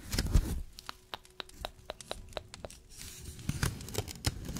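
A small layered paper Christmas tree ornament in a little pot, held close up, as fingernails scratch and brush the edges of its stacked paper layers. Soft crinkly rustling opens and returns near the end, and a quick series of short, crisp dry ticks fills the middle.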